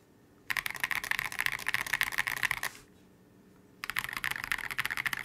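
A transparent polycarbonate KBD67 Lite mechanical keyboard with C³ x TKC Kiwi switches and Oblotzky SA Oblivion V2 keycaps is typed on, first with one hand pressing keys, then with both hands using fingertips. Two bursts of rapid, bright, clacky keystrokes are heard, separated by a short near-silent pause, each click short and sharp with almost no ring.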